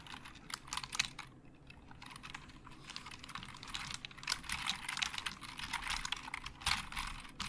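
Fingertips type and tap on the hollow plastic keys of a black plastic Logitech keyboard. Quick, bright plastic clicks come in dense bursts, with a quieter, sparser stretch early on before the typing picks up again. Each click is short and dry with very little low end.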